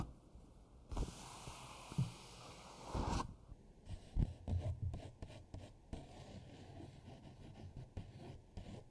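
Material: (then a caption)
Paper. Fingertips and long nails rub and scratch across a single thin A4 paper sheet bearing a colored eagle drawing, lying flat on a dark table with markers untouched beside it. A broad, hissy scraping runs from about 1 to 3 seconds, followed by shorter scratches and soft taps with a low, dull body.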